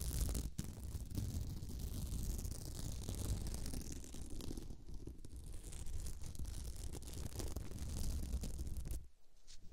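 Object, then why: Beaded glitter placemat. Long nails scratch over the bead texture of a flat, sparkly beaded glitter placemat resting on the microphone. The result is a dense, continuous rasping and rubbing with a heavy low rumble and faint high fizz, which stops abruptly near the end and leaves near silence.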